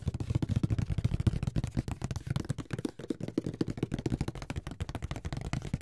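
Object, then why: Cardboard game box lid. A closed grey Monopoly cardboard box, flat and hollow, is held in the hands and tapped on the lid with fingertips and nails. It makes a rapid, steady run of short, dull, hollow thuds with a low body and almost no ring or high-end click.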